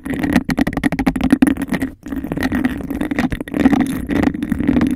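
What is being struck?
Embossed glass cup.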